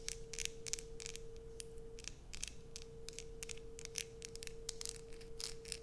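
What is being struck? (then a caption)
Bar of soap scratched with fingernails. Long nails scratch across the embossed logo surface of a solid light-blue Coast bar soap in quick, repeated strokes. Each stroke is a short, bright, raspy scrape, heard over a steady low hum and a faint low rumble throughout.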